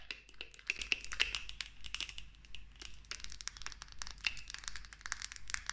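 Long nails tap and scratch quickly over a clear 100 ml cosmetic bottle, likely glass, with a black pump and partly filled with liquid, working on both the bottle body and the pump. The result is a dense run of dry, bright clicks and crinkly scrapes with a faint high ringing tone in each tap.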